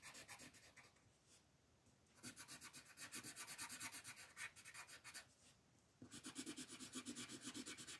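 A green colored pencil rubs and scratches across a flat white paper mandala sheet while coloring in leaves. Rapid, steady back-and-forth strokes make a bright, papery scratching hiss in three bursts, with quieter pauses near 1.2–2.2 s and 5.3–6 s.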